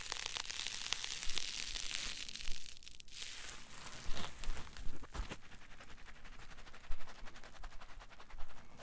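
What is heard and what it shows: A solid green polyethylene foam block is held in both hands and squeezed and rubbed with the fingers and palms. It makes dry, crinkly creaks and squeaks with a bright, hissy rustle at the start, followed by irregular crackling bursts.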